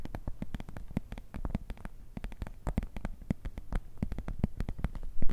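A transparent plastic pencil case, a clear, flexible PVC zip pouch with a black zipper edge that appears empty, is tapped and crinkled with long nails and fingertips. It gives a rapid, uneven run of short, dry taps, each a dull low thump with a crisp click on top, plus a faint crinkle between taps. The taps stop dead with no ring and get a little louder toward the end.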